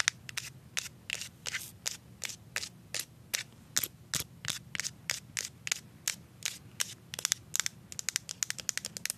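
A plastic deodorant stick with a labeled back is scratched and tapped with paper clip nails, giving a crinkly label sound. A rapid series of short, sharp, bright clicks and crackles sounds over a faint low background hum, each one ending almost instantly.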